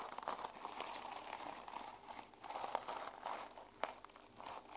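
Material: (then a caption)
Plastic. Long fingernails scratch and brush across the plastic sequin cover of a small journal held flat in one hand. The sound is a quiet, continuous crinkly scratching with a midrange rustle and a few brighter, sharper clicks as the sequins flip and shift.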